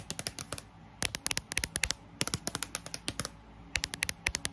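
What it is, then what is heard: Paperback dictionary cover. Long acrylic nail tips tap fast on the glossy card cover of a thick paperback dictionary lying flat on a table, its solid paper block underneath. Twenty-eight sharp, bright clicks come in quick bursts with brief pauses between them, each dying away almost at once. A fan hums steadily in the background.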